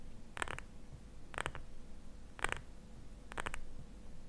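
Fingernails tap and scratch a small glass jar filled with cream, held in both hands. Brief, bright clicky bursts arrive about once a second, with little ring, over a low, steady background rumble.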